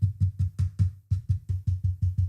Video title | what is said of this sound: 🐇 Rust game dev: multiplayer bug making🐇 | There isn't really much in terms of like movements or such. There is no rattling.